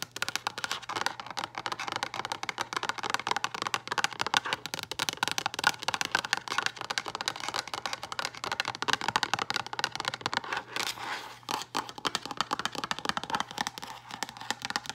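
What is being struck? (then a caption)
Translucent plastic storage box. Long acrylic nails tap rapidly and continuously on a hollow, frosted translucent plastic storage box with a lid. The result is a dense stream of sharp, bright plastic clicks with almost no low end, each dying away almost instantly, over a faint steady low hum.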